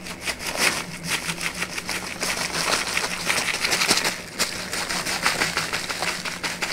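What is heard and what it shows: A flat brown kraft paper bag with a white label is held in one hand, waved and crinkled as the paper flexes under fingertip pressure. Dense, bright crackling and rustling runs continuously, with sharper crisp snaps scattered throughout and a faint steady low hum underneath.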